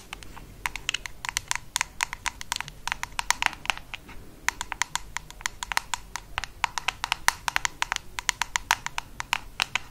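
Long acrylic nails tap and scratch the black ribbed screw lid of a small bronze-amber cosmetic jar with an "MA" label, held in one hand. Quick, dry clicks with no ring repeat in rapid, uneven bursts over a faint low hiss.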